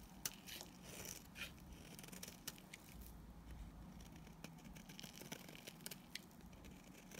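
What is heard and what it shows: A blade scrapes a solid, white, speckled, opaque soap bar, shaving off dry curls and powder. The scraping is quiet and dry, with crisp high crackles and brief ticks over a low, steady rumble.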